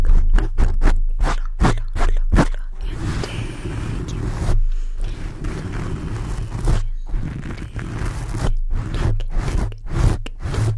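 A black foam microphone windscreen is rubbed and scratched with fingertips, producing deep, heavy scratching and rubbing bursts dominated by low rumble. Quick, irregular strokes open and close the clip, with a longer stretch of continuous rough rubbing in the middle.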